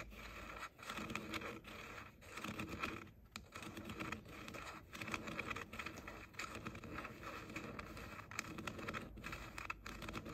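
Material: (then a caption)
Plastic. Short painted fingernails tap and scratch the outer shells of the hollow ear cups on pink plastic JBL over-ear headphones held in both hands. The result is a dense, continuous run of quick, bright plastic clicks and scratchy rubbing with a light hollow resonance, each tap dying away almost instantly.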